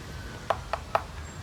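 A freshly harvested coconut is tapped three times in quick succession, giving short, hollow knocks with a clear tone around 670 Hz that die away almost at once. The coconut is judged already mature rather than young, since a young one would give a dull sound.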